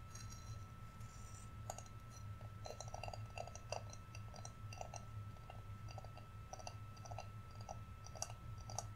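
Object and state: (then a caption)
Wooden Santa figurine. A small, flat, solid painted wooden Santa ornament is held in the hands and tapped and handled with fingertips and nails. The result is a quiet stream of short, dry clicks and taps with bright edges, each dying away almost at once, over a steady low hum and a faint constant tone.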